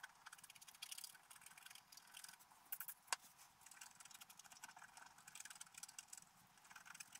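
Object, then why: Black-coated scratch art paper scraped with a wooden stylus. A wooden stylus scratches details into a flat, black-coated sheet of scratch art paper. The result is a quiet, continuous run of short, bright scratching strokes with almost no low end, plus one sharper click near the middle.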